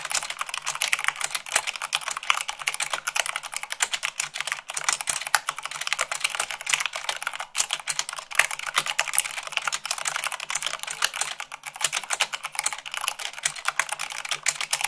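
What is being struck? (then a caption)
Plastic mechanical keyboard. Fast, continuous typing on a full-size plastic mechanical keyboard with white plastic keycaps on a black frame, both hands striking the keys with fingertips and long nails. The clicks are bright, short and crisp with almost no low end, forming a dense, steady clatter throughout.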